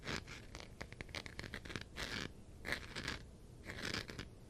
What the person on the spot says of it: definitely has a very different sound because of the texture